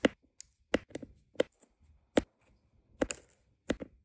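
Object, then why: Resin diamond painting drills on adhesive canvas, pressed with a plastic drill pen. A plastic drill pen with a metal tip taps small, solid, round resin diamond painting drills down onto a flat adhesive canvas. Nine short, dry, clicky taps come at an uneven pace, each dying away almost instantly with a light, mid-pitched tick.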